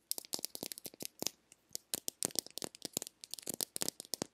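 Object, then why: Small plastic egg-shaped lip balm container. Long nails tap and scratch the curved surface of a small, hollow, pink plastic egg-shaped lip balm container. The result is a quick, irregular series of dry, bright clicks with brief scratchy scrapes and almost no ring or low end.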